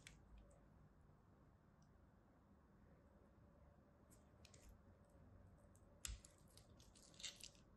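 A palm-sized solid rectangular purple soap bar with white stripes is held in one hand while a small metal craft blade scratches and cuts thin lines into its surface. Quiet, clicky scraping and crisp cuts come in irregular bursts over a low background hum, with a sharper, brighter click near the end.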